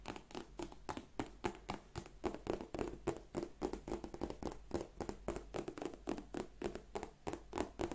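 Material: Leather.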